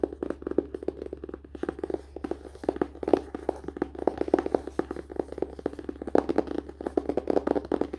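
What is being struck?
Hardcover paper-and-cardboard book.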